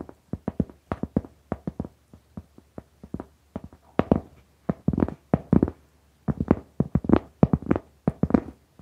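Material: Cork.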